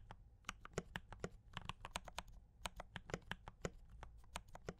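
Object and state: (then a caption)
Mechanical keyboard with plastic keycaps. Both hands type steadily with fingertip taps on a compact D84 mechanical keyboard with brown switches and cream and red plastic keycaps. About two dozen short, crisp clacks come at an uneven rhythm, each with a muted low body and a bright click that dies away almost at once.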